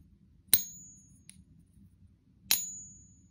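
A pure copper round is pinged twice, giving two bright, high-pitched metallic clinks about two seconds apart. Each ring dies away quickly, much shorter than that of a brass copper-zinc fake coin, though the two still sound like the same family.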